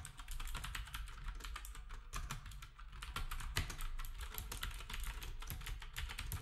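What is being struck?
Plastic keyboard with round keycaps.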